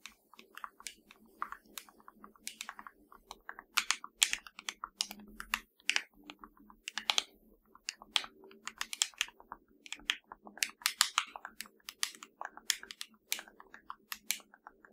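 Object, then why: Plastic remote control buttons. Long nails tap and scratch the buttons of a hollow black plastic LG TV remote control. The result is a rapid, uneven series of sharp, bright plastic clicks that stop almost instantly, with very little low end. Faint scratchy rustling runs between the taps.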